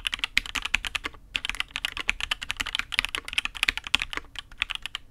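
Fingertips of one hand type steadily on a custom Matrix 8xv 2.0 mechanical keyboard with INK Black, a dark aluminium case and black and red ABS keycaps. The rapid keystrokes are bright, crisp clacks centred around 2.7 kHz, with very little low end, and each one dies away almost instantly. Two short pauses break the flow, near 1.2 s and again near 4.3 s.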